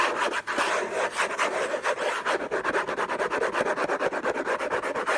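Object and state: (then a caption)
Cardboard box scratched with fingernails. Fingertips and short nails scratch hard and fast across the lid of a long, rectangular, closed Hermès gift box made of cardboard covered in orange textured paper, lying on a fluffy blanket. The scratching comes as a dense run of rough, raspy strokes, about two per second and somewhat irregular. The tone is dry and papery, centered in the midrange with a thin bright hiss and no low end.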